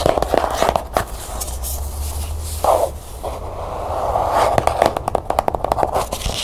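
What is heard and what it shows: Long nails tap and scratch along the ridged, gold-printed spine of a small, closed, cloth-bound hardcover book held in the hand. Quick, sharp taps alternate with raspy scratching strokes, and the scratches carry a dry mid-range texture. A low hum runs underneath through the middle of the clip.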